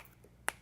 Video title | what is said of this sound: When to Replace Your Rubber Seals! | that don't sound right it sounds like plastic I mean it's hard